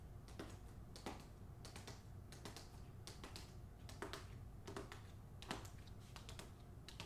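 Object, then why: Hardcover book with glossy paper jacket. Long nails tap rapidly on the front cover of a closed hardcover novel, The Hacienda, which has a glossy paper dust jacket. The taps are quick, bright clicks that die away almost at once, layered over a quiet, steady low rumble.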